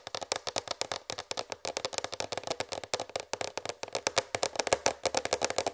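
Long red fingernails tap fast on a large white plastic tray, making a rapid run of roughly forty short, dry clicks. The clicks have a hollow mid tone around 540 Hz with bright upper edges, and each dies away almost at once.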